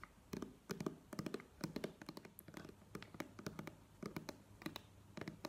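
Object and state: Plastic squeeze tube.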